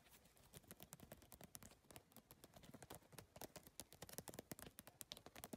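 Long nails tap and drum quickly across the iridescent triangular PVC tiles of a holographic geometric handbag. The result is a rapid, uneven stream of sharp, bright plastic clicks. Each click stops dead with no ring.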